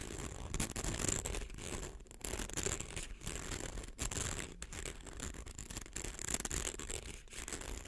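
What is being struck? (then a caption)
Plastic coil toy. A fingernail scratches along the coils of a small, hollow, rainbow-colored plastic slinky held in the hands. The result is a steady, dry rasping and ticking with a thin, bright high whine running through it, over a low rumble. The level dips briefly at moments throughout.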